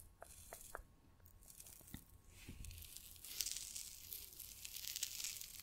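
A small orange, gel-filled, reusable soft PVC hand warmer pouch printed "Chaleur Express" is held in both hands and squeezed, crinkled and scratched with fingertips and nails. A few sharp, bright ticks and soft low thumps give way to a denser, louder stretch of high, hissy crinkling and scratching that continues to the end.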